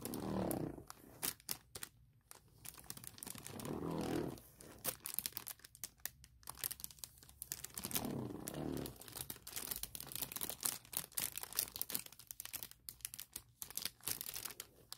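Long nails tap and scratch the thin film of a clear printed plastic packaging bag lying flat. Quick, irregular crinkly taps and bright scratching run throughout, with a few softer, fuller rustling swells in between.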